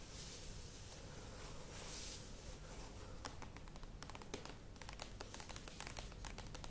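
Long nails tap rapidly on the sides of a medium cylindrical plastic yogurt tub with a lid, standing on a table. A soft, airy scratching opens the clip, then quick, bright, hollow clicks patter unevenly over a low, quiet background.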